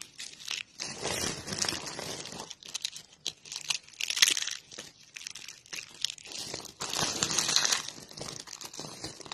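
Fingertips with painted nails press into a pile of thin, brittle, dry pink soap flakes and curls of solid soap, crushing them. The crushing produces dense, bright crunching and crinkling crackles in uneven bursts, separated by brief quieter pauses, with almost no low-end body.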